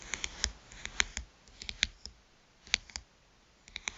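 Long nail tips tap the glass screen of a small black smartphone lying face up. Quick, dry, bright clicks come in irregular clusters with short quiet gaps, each tap dying away almost instantly.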